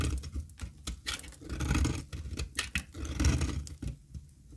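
A solid, dry, square cream-colored olive oil soap bar is held in the hand while its stamped face is scraped with a metal utility blade. Irregular, dry scratching and crumbling strokes come in bursts, with a heavy low-end rumble and bright, crisp rasping on the stronger passes.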